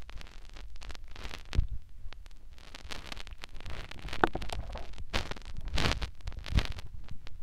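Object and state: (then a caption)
Silicone ear being rubbed by fingers. Fingertips rub and poke into a white silicone ear on a plastic binaural microphone. The result is a continuous stream of muffled, low rumbling rubs broken by brief bright, scratchy crackles and soft thumps. The crackles and thumps come in irregular bursts with no speech.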